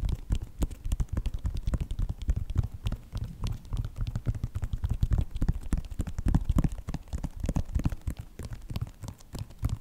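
Fingertips and nails tap and scratch the sides of a white Nike sneaker with a synthetic upper. The result is a steady, uneven run of soft, dull, low taps with short crackly scrapes in between, each sound dying away almost at once.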